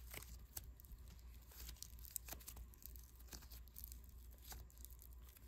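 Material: Polystyrene beads.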